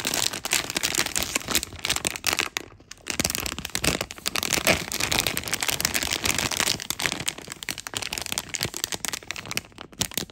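A glossy blue and clear plastic film packaging bag with a foam insole inside is held and crinkled by fingertips close up, giving a continuous bright, crisp crinkling and crackling. The dense snaps run almost without a break, apart from a brief near-silent gap just before three seconds.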